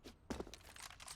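Knuckles knock on a wooden desk that has a microphone arm mounted on it. Two sharp, hollow knocks are followed by softer tapping with a faint metallic ring. The ringing may come from the microphone arm's spring.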